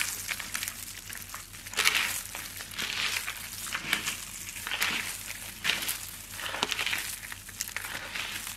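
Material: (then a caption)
Soap. Fingertips grab and crush handfuls of thin, brittle, dry shaved-soap flakes in yellow, green and pink, working the same pile throughout. The result is a steady stream of bright, crisp crinkling and crunching with almost no low end, rising into louder crackling bursts with each squeeze.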